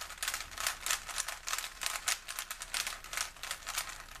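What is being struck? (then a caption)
Plastic 3x3 puzzle cube. A small solid plastic 3x3 Rubik's cube is held in both hands while fingertips rapidly twist its layers. The result is a quick, uneven series of bright, crisp plastic clicks and clacks with very little low end, each dying away almost at once.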